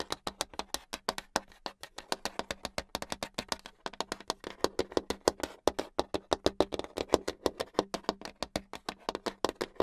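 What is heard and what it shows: Long acrylic nails tap rapidly on a flat, solid brown hardboard clipboard, making about sixty sharp, dry clicks with no ring. The clicks have a hollow midrange body and a bright edge, with some taps stronger than others, over a faint steady low hum.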